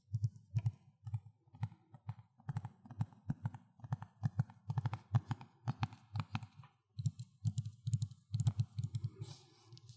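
Fingertips tap on the plastic Xbox 360 case for Need for Speed: Most Wanted, producing quick, irregular, crisp hollow taps. The dull, low-pitched knocks cluster in short bursts and die away almost instantly.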